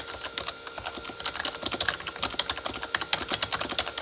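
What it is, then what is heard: Plastic keyboard, hollow-sounding. Both hands type with their fingertips on a full-size Corsair K35 backlit keyboard with plastic keycaps on a hollow plastic body. A rapid, uneven stream of sharp, bright, clacky taps rings off almost at once, with hardly any low end. It makes a steady flurry of keystrokes for the whole clip.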